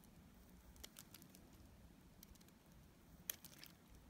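A metal utility blade scrapes and cuts a solid, dried pink bar of soap into chunks. Soft, dry crackles and sharp bright clicks sound over a quiet low rumble, with the loudest crisp snap near the end.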